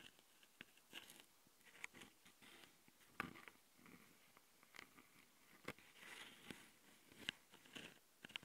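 A long glitter-covered fingernail scratches the left metal mesh-grilled microphone capsule on the plastic body of a small Tascam handheld recorder. It produces close, dry, bright scratching and crackling with sharp little ticks, coming in irregular bursts over a quiet background.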